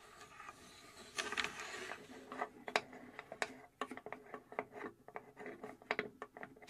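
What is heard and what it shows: Long nails scratch and tap the front and top surfaces of a small, hollow plywood mechanical puzzle safe box held in both hands. Soft, scratchy rustling gives way to a quick, irregular run of light, dry wooden taps with a hollow, mid-pitched tone. Each tap dies away almost at once.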